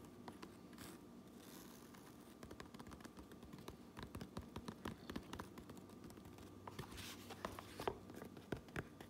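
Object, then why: Fabric trucker cap brim. Long nails tap and scratch the underside of the red brim of a fabric trucker cap, then move to the top of the same brim. The result is a quiet, dense run of quick, dry clicks with short scratchy rustles between them, mostly soft and low-to-mid in tone, with a few sharper, brighter taps near the end.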